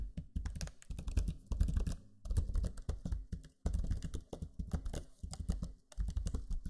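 Fingertips with short nails type on a Lenovo Legion 5 laptop keyboard, with black plastic low-profile keys and a purple backlight, built into a solid laptop body. Rapid bursts of short, deep, muted taps are heard, separated by brief pauses. Each tap dies away almost instantly.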